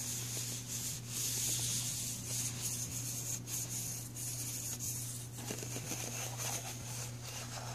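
Fingernails scratch and then fingertips rub across the grooved surface of an empty black ridged plastic pencil tray. The result is a continuous, bright, hissy scraping texture with faint rhythmic ridge clicks over a steady low hum.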